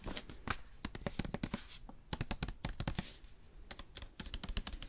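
A paperback book is tapped in quick, irregular bursts of short, dry, clicky taps that sound much like typing on a keyboard. Each tap dies away almost at once, and brief quieter gaps fall between the flurries.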